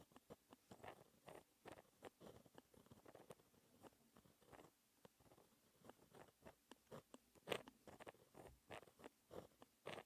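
A white gel pen held in the fingertips writes math equations on a flat sheet of black lined textured paper. It makes a quiet, steady run of short, dry scratching strokes, midrange with bright edges and no ring. One stroke, about three-quarters of the way through, is noticeably louder than the rest.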